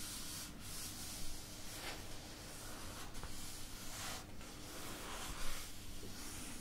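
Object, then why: Paperback book paper pages. Fingertips and nails rub and brush across the paper pages of an open paperback book held at chest height, turning the pages as they go. A steady, soft papery rustle and scratch runs throughout over a low background hum, with brief louder brushes near the start and toward the end.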